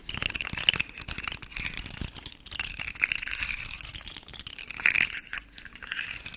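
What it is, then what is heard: Plastic articulated fidget slug toy. A rainbow, segmented hard plastic articulated fidget slug toy is held in the hand and wiggled so its segments rattle and click. The result is a dense, continuous stream of quick, dry, bright clicks and crinkly rattling, strongest in the upper range around 3 kHz with little low end, swelling and easing in bursts.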